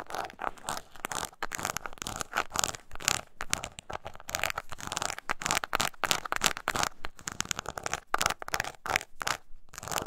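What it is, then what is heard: Embossed leather coin purse scratched with nails. Long nails scratch the textured front of a small brown crocodile-embossed leather mini coin purse with a metal clasp, held upright and hollow. The result is dense, bright, rasping scratches in quick bursts with short pauses, shifting between louder and softer passages.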